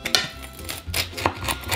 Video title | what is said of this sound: WIELKI TEST PIZZY OD CELEBRYTÓW (Magda Gessler, Makłowicz, Ramsay i INNI) | Ale chrupie ciasto słyszycie to